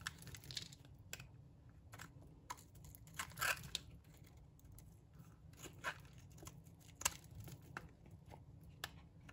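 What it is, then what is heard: Dry bar soap being cut. A metal blade cuts into a solid, dry pink bar of soap and shaves curls off it. Crisp, bright scraping and crunching clicks come in quick, uneven bursts, with a few sharper snaps standing out over a steady low hum. Each stroke ends abruptly, with no ring after it.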